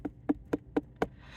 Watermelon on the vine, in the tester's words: if it sounds Hollow it's good to go